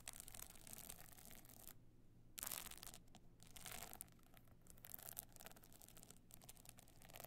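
Long nails scratch across the glued pebble surface of a stone-chip covered box clutch held on end, producing dense, bright, gritty rasping over a steady low hum. The scratching pauses briefly near the two-second mark, then returns in a louder burst and continues in uneven strokes.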